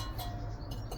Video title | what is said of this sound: Yamaha Virago squeaking problem solved in one episode | does sound metallic, like ringing